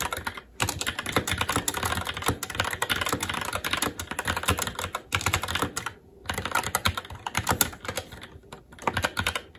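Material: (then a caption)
Plastic. Fingertips of both hands type continuously on a SteelSeries Apex 7 TKL mechanical keyboard with Red switches, black plastic keycaps on a metal plate and a hollow RGB-backlit case, resting on a desk. A dense stream of short, bright clacks rattles along with brief pauses near the start and around the six-second mark, each keystroke dying away almost instantly.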